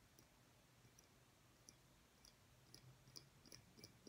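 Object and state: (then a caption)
Glass light bulb. A small, clear, hollow glass light bulb with a metal base is held in the hands over a table and tapped with the fingernails. Faint, bright clicks sound in an irregular string, growing slightly louder toward the end, each dying away almost at once over a low, steady hum.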